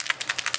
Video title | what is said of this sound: Airbrush Foundation Routine using Dinair! | just shake it and then you'll hear the little steel balls in there shake